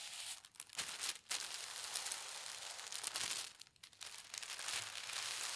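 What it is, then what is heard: Tissue paper being rubbed. Fingertips and long red nails smooth and rub across a thin teal tissue paper sheet lying flat on a table. The result is a bright, airy crinkling rustle that runs almost continuously, with a few brief quiet gaps between strokes.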